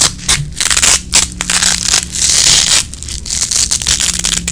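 A small red nylon Velcro hook-and-loop strap is held in both hands while fingertips with long nails pull the hook and loop sides apart and press them back together. The result is a string of bright, crackling, scratchy tearing rips, some longer and some short, with brief pauses between them.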